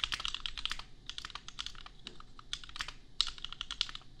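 Fingertips type on a custom $250 compact mechanical keyboard with Gateron Milky Yellow switches and red and pink plastic keycaps. It makes a steady run of quick, bright, crisp clacks with a short pause near the middle. Each keystroke is sharp and dies away almost at once.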